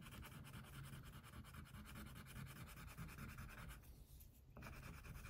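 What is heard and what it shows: An orange wax crayon, held in fingertips with long painted nails, is rubbed back and forth across a thin white paper coloring sheet lying flat on a table to fill in a tiger. The strokes make a steady, soft, low scratchy rubbing with a faint bright hiss. A brief quieter lull comes near the end before the rubbing resumes.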